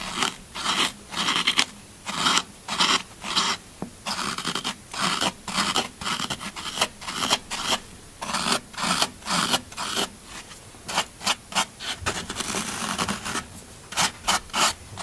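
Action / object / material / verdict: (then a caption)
scrape / green floral foam block / floral foam / none. A solid green floral foam brick, held in the hand, is repeatedly scratched and raked with a thin pointed black tool that breaks off small crumbs. Short, bright, crunchy rasping strokes come in quick bursts with almost no low end, and each one stops sharply.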